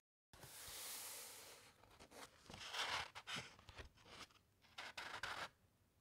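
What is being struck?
Thick paper book pages.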